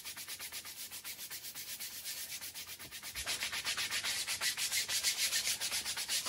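A handheld brush scrubs the damp pile of a small fringed Persian woven pile rug (wool-type textile) with a faded pattern, lying flat on a tiled floor, while a second brush in the other hand rests on the floor. The scrubbing is a bright, hissing bristle rasp in rapid, steady back-and-forth strokes. It grows louder and harsher about halfway through.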